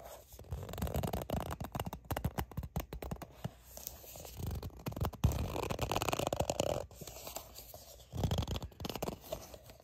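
Long nails scratch and tap across a soft plastic sunscreen squeeze tube that is held in both hands and appears filled. The result is a dense run of quick, soft scratching strokes and light taps with a dull, low-heavy body, rising and falling in bursts with brief quieter gaps.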